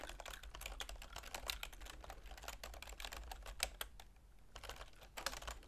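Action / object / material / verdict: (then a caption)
tap / plastic computer keyboard / plastic / none. Continuous typing with long nails and fingertips on a full-size black plastic keyboard with a silver plastic frame, making rapid, bright plastic clicks and taps. The typing pauses briefly near the four-second mark before resuming, over a steady low hum.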